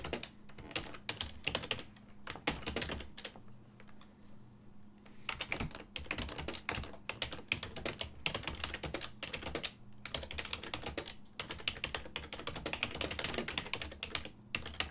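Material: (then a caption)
Plastic. Fingertips type on a full-size silver-and-black plastic desktop keyboard with hollow key switches, producing a continuous stream of bright, quick-decaying key taps. The typing slows to a near pause around 3.5 to 5 seconds and briefly around 11 seconds, while a faint steady low hum sits underneath throughout.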